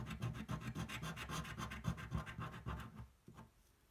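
The edge of a coin scratches a thin, flat cardboard scratch-off lottery ticket held flat on a table. Quick, steady back-and-forth strokes make a dry, rasping scrape with a low, thudding body and bright grit. After about three seconds the scratching trails off to a few faint strokes.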